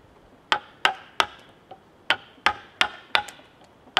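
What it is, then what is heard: Mallet and chisel cutting into a cedar log. A wooden mallet drives a chisel into the cut face of a large solid cedar log while carving a Buddha figure. Nine sharp, dry knocks come at an uneven pace, the fourth much softer, each a bright, woody crack that dies away almost at once.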